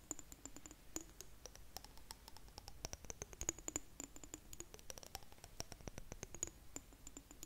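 Long nails tap rapidly on a clear glass jar with blue contents, held sideways. The result is a quick, dense run of sharp, dry clicks with a faint high glassy ring and almost no decay.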